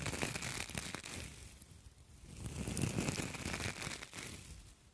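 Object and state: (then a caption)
Copper mesh scrubber. A pair of identical palm-sized, hollow and springy copper wire mesh scouring pads, one held in each hand, is squeezed and crinkled with fingertips and long acrylic nails close to the microphone. It makes a dense, bright crinkling and crackling with a low rustling body. The sound eases off around the second mark, swells again near the third, and then fades.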